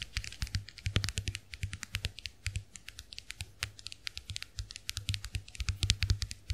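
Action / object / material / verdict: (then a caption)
tap / plastic compact hand mirror / plastic / none. A small round white plastic clamshell compact hand mirror is held open while long acrylic nails tap and scratch the plastic backs of its shells. The result is a steady run of quick, dry clicks with bright tips and a low thump under each. The taps come fast and irregularly, with short scratchy strokes between them.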